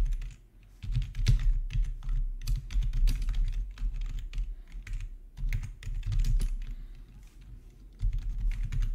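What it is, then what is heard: Plastic membrane keyboard being typed on. A plastic RGB backlit membrane keyboard with black plastic keycaps, resting on a marble surface, is typed on with the fingertips of both hands. An irregular stream of soft, muffled key clicks with brief bright edges sits over a steady low rumble.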